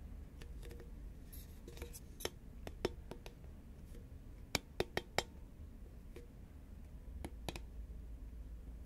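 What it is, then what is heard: Paperboard chip can tapped with nails. A green, medium-sized, hollow Pringles composite paperboard chip can is held upright and tapped with long nails. Sharp, very short clicking taps come in irregular bursts over a steady low hum, with a cluster of louder taps near the middle.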